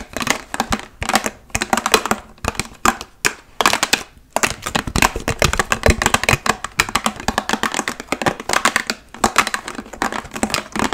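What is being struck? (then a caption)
Large plastic water bottle. A large, hollow, clear plastic water bottle, partly filled, is tapped and scratched quickly with long nails covered in paperclips. The result is a dense run of sharp, bright clicks and brief scratchy scrapes with very short decay, coming in quick bursts with brief pauses between them.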